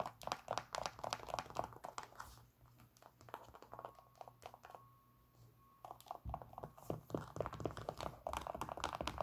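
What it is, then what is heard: Synthetic leather sneaker. Long pink acrylic nails tap and scratch along the wavy synthetic leather and mesh upper of a hollow, empty white Nike Air Max 97 sneaker held in the hands. Quick, irregular dry clicks and crinkly scratches start the clip, then ease into a quieter stretch of soft scraping with a faint steady tone. The tapping returns just as busy near the end.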